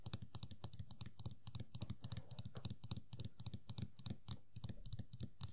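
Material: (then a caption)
Vinyl. Long nails rapidly tap and scratch the large hollow head and sculpted green hair of a small Sailor Pluto Funko POP vinyl figure sitting on a table. The quick, irregular taps give hollow, low thumps with bright clicky edges, mixed with soft scratching.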